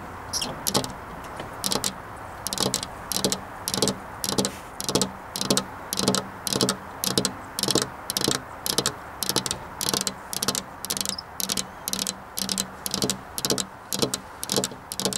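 Long, black-polished nails tap repeatedly on a flat glass window pane set in a metal rail. Bright, crisp clicks come in quick clusters at a steady, unhurried rhythm, over a faint low hum.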